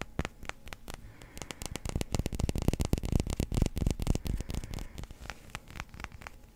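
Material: Resin.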